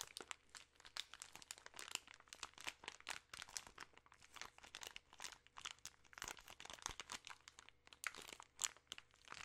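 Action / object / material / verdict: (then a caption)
scrape / plastic film bag of chocolate candies / plastic film / none. A plastic-film bag of peanut M&M's, full of candies, is crinkled and squeezed with fingertips and long nails. The result is a dense run of quick, bright crackles and crunches. A faint low hum sits underneath.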